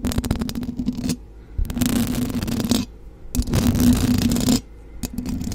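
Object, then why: Metal mesh microphone grille. Long blue acrylic nails of both hands scratch and tap the hollow, rounded metal mesh grille of a silver USB condenser microphone. Bursts of gritty, bright scraping over a steady low hum are broken by brief quieter gaps with scattered sharp taps.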